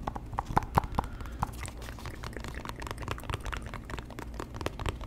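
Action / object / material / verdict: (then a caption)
tap / small cardboard box / cardboard / none. A small, hollow white cardboard box with one open end is held in both hands and tapped and scratched with the fingertips close to the microphone. A few louder hollow knocks with a short mid-pitched ring come first, followed by a steady stream of soft, quick taps and dry scratching.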